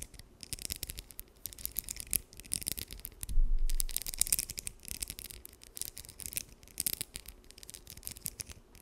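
Long nails strum and scratch across the teeth of a small, solid blue plastic comb held close to the microphone. The result is rapid, uneven bright ticks and scratchy clicks, about four per second, with a denser, louder rubbing stretch partway through over a soft low rumble.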